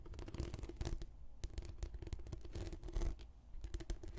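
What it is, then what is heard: Rolled plastic anti-slip mat being scratched. Long red-painted nails slowly scratch along the surface of a translucent, textured PVC anti-slip mat rolled into a long hollow tube. It makes a quiet, continuous run of dry, rustling scrapes with a low, boomy body, as the strokes rise and fall in bursts.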